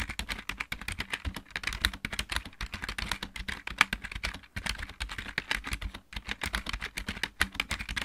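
Both hands type rapidly with fingertips and nails on a full-size backlit plastic mechanical keyboard. A dense run of short, bright clicks and taps with very little ring pauses briefly about halfway through and again near the six-second mark.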